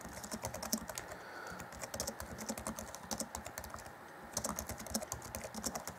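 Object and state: Plastic laptop keyboard.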